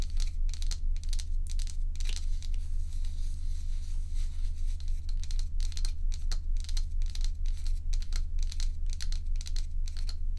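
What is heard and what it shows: Long acrylic nails tap and scratch solid crescent-shaped ice cubes filling a white plastic bowl. Bright, crackly scratching comes in quick bursts over a constant low hum, in an uneven tapping rhythm that runs throughout.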